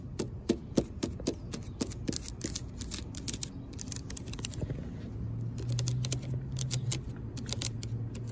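Long pink decorated acrylic nails tap and scratch along the ridges of a black coated expanded-metal mesh seat on a picnic bench. Quick, irregular, sharp clicks and scrapes come in a rapid series, with a low steady hum underneath.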